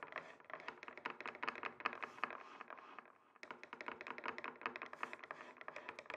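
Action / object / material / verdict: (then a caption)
tap / wooden chopping board tapped with wooden sticks / wood / none. Two wooden sticks tap and rub across a flat, solid, rectangular wooden chopping board, making about 40 quick, dry clicks with a bright midrange centered near 1.2 kHz. The taps come in a loose, steady run with a brief pause just past the three-second mark. An echo effect gives each short tap a slight wash of space.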